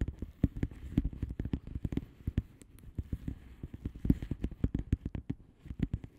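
Long polished nails of both hands tap and scratch the bubbles on a flat padded envelope with a plastic bubble wrap surface. A rapid, uneven stream of short, dull, low-pitched clicks and soft scratches sounds steadily throughout, each tap dying away almost instantly with no ring.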